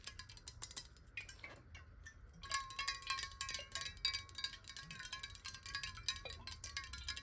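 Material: Glass.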